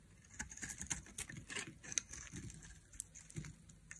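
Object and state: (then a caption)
Dry bar soap being carved. A hand-held, solid rectangular bar of dry yellow-and-white striped soap is carved with a thin black blade, shaving off crisp strips and flakes. The cuts make quiet, bright, dry scraping and crackling sounds with short clicks and no ring.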